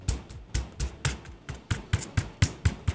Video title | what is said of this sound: Top 3 Low Cost Wireless Keyboard On Amazon | it's just solid right so it's definitely something that you can feel the difference between One keyboard and the next